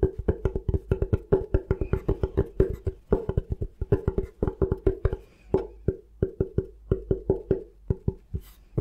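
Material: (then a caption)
Bamboo. Fingertips tap rapidly on the flat face of a thin, solid bamboo cutting board held upright. The result is a quick, uneven stream of short, dry, woody knocks with a hollow mid-pitched tone. Each knock dies away almost at once, with brief pauses between bursts.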